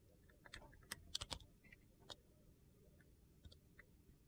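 A metal utility knife blade slices thin, brittle flakes off a solid, translucent glycerin soap bar with purple and teal pieces, held in hand. It makes quiet, sharp, crisp crunching clicks with almost no ring, scattered irregularly over a faint background hiss.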